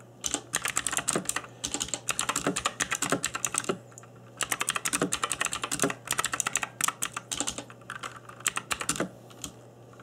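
Fingertips in black nitrile gloves type on an RGB-backlit mechanical keyboard with plastic keycaps, producing rapid bright clicky key taps in bursts with short pauses between them. Each tap is sharp and dies away almost instantly, and a steady low hum sits underneath.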